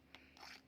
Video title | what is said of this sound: سر السمك المقلي المقرمش❗بالتلحيسة🔥سر المطاعم لقرمشة ثابتة ولون دهبي السمك مش هيشرب زيت نهائيًا#ترند | بصوا بقى اسمعوا كده صوت القرمشة والخرفشة. هو ده السمك المقلي المظبوط، مش شارب زيت وطالع مقرمش معايا من بره.